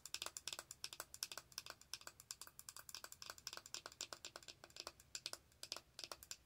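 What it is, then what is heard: Plastic makeup compact. Long acrylic nail tips tap rapidly on a small round plastic powder compact with a clear lid. The taps come as a fast, steady stream of dry, bright plastic clicks that die away almost instantly, with almost no low end.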